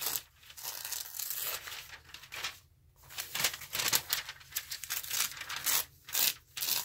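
An open glossy news magazine with thin paper lies flat on a table while a palm rubs and presses its pages to crease them, then fingers pull and tear the pages along the fold. Bright, crinkly rustling comes in uneven bursts, rising into sharper ripping near the end, with almost no low end.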